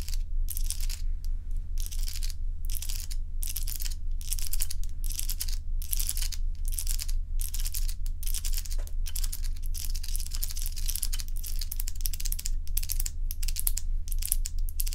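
Long nails tap and scratch along rows of solid crescent ice cubes laid on a dark towel, producing rapid bright, crackly scratching bursts that come about twice a second. A steady low hum runs underneath throughout.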